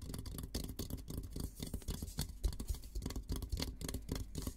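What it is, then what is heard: Steel military helmet. Fingertips tap and scratch the dome of a hollow, olive-green painted steel military helmet. Quick, irregular soft taps mix with dry scratching, each tap giving a dull, low, hollow thud that dies away almost at once.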